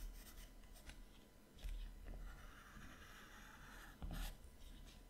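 A colored pencil rubs and shades strokes on the right page of an open paper sketchbook held flat, making a soft, dry scratching and rasping. Two louder pencil strokes stand out from a quiet stretch of continuous shading.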